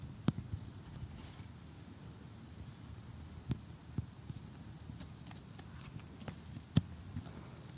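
Metal tweezers poke and pick at the pieces of a cardboard jigsaw puzzle showing a cottage and a tree on a table, with fingernails resting nearby. Sparse, sharp little clicks and taps stand out over a quiet, low, rumbling background, with faint bright ticks scattered between them.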